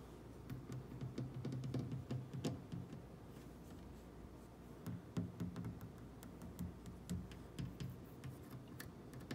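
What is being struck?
Wooden kitchen cabinet door.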